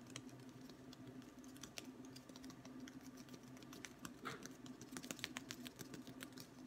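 A long, thin, solid wooden ruler is held at various angles and tapped with fingertips along its length, producing a quick run of light, dry clicks and taps. The taps are short and bright, dying away almost instantly, over a steady low hum.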